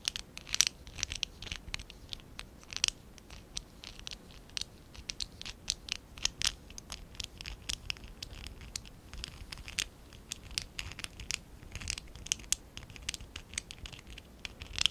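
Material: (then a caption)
Plastic. A small stack of small, hollow pink and dark blue ABS plastic Lego Classic 11017 bricks is held in both hands while fingertips and short nails scratch and rub across them. The result is a quiet, steady run of bright, dry scratching and rapid ticking clicks with almost no low end. Each sound dies away instantly, with occasional sharper clicks standing out.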